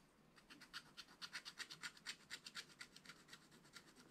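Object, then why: Wax-coated scratch-art paper scratched with a wooden stylus. A wooden stylus scratches across a flat, black wax-coated paper scratch-art page in about twenty quick, evenly paced strokes. Each stroke is a short, dry, bright scratch with almost no low end, swelling louder through the middle of the clip and then fading back to softer strokes.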